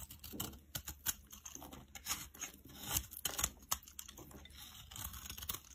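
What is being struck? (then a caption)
Bar of soap scraped with a metal blade. A metal blade shaves and scrapes curls off a solid purple soap bar held in the hand. It makes quick, irregular bursts of crisp, bright scraping and crinkling with a dry, short tail and little low end.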